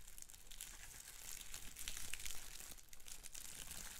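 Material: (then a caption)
Plastic. Fingertips squeeze and pop the big air bubbles on a large, held-up sheet of clear plastic bubble wrap while crinkling the sheet. A steady, bright crinkling hiss runs throughout, broken by short, sharp pops and a soft low rumble. The sound swells to its loudest around the middle before settling back.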